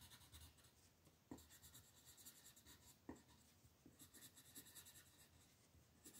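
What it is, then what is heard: Colored pencil on paper. A yellow wooden colored pencil colors small shapes along the border of a flat printed paper coloring sheet lying on a table. Quiet, steady scratchy drawing strokes rasp across the paper, with a bright, papery hiss and a few sharper taps as the pencil lands.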